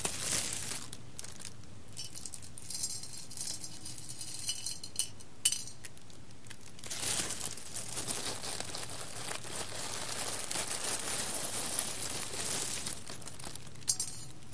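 Fingers with long red nails pick up handfuls of whole roasted coffee beans from a small pile in a large clear embossed glass bowl and drop them back onto the pile and the glass. Bright, dry clicks and clinks patter in quick, dense bursts, with a few sharper taps against the glass standing out. Longer stretches of steady rattling swell and fade in between.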